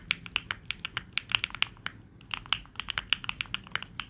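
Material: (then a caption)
Plastic. Both hands type fast with their fingertips on a 65% mechanical keyboard with plastic keycaps, making a quick run of bright, sharp key clacks. There is a short pause just before the two-second mark, then the typing picks up again. Each tap is crisp and dies away almost at once over a faint low background hum.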